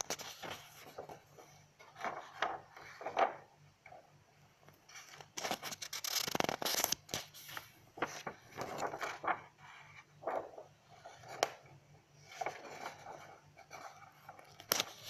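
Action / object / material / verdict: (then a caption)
scrape / paper notebook pages / paper / none. Long nails scratch across the pages of an open lined paper notebook and flip a page, making dry, bright scraping and rustling strokes in uneven bursts. A louder, broadband papery sweep around the middle marks the page turn, and the scratching resumes in short, crisp runs afterward.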